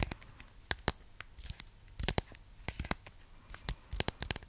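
Long nails scratch and crinkle the paper-and-foil wrapper of a large, flat, solid, full Milka chocolate bar. The result is an uneven run of sharp, dry crackles and scratchy rustles with bright, crisp tops and a faint low rumble between them.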